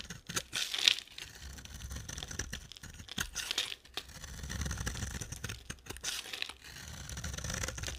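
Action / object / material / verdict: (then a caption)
scrape / bar of soap cut with a knife blade / soap / none. A hand-held, solid oval bar of purple and white marbled dry soap is scraped and carved with a utility knife blade. Bright, dry scraping and crumbly crunching come in irregular strokes, with short sharp cuts and longer shaving passes.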